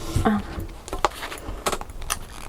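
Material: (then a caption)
Metal. Gold-colored metal pieces along the middle of a pair of leather shoes, and the metal buckles, are handled so they jingle and clink like keys. The result is several short, bright metallic jangles over a soft, low rustle of handling.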